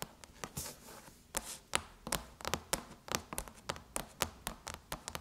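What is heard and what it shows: Long chrome nails tap on the surface of a closed silver aluminum MacBook lid with the Apple logo, making about 20 quick, bright clicks with almost no ring. The taps come at an uneven pace, and softer, broad hissy swishes sit between them early on.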